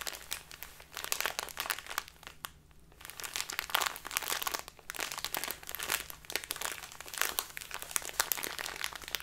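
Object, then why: Small plastic bag of loose tea. Fingers with long nails rotate and crinkle a small labeled plastic bag full of loose tea. Dense, bright crinkling and crunching crackles come in bursts, with a brief quieter lull near the three-second mark.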